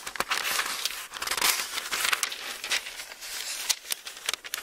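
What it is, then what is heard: Thin-paper book pages being flipped. An open Bible with thin paper pages is held in two hands while its pages are flipped and rubbed between the fingertips. This produces bright, crinkly rustling with sharp crackles and swishes, and almost no low end. The dense papery sound swells and fades over a few seconds.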